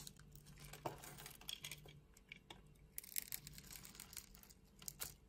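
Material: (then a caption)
Soap. A solid green bar of soap, held in a palm with long red nails, is scored into small cubes and shaved off with a utility knife blade. Quiet, bright scraping and crisp crumbly crackles come in a steady string of small cuts, with a few sharper snaps as pieces break away.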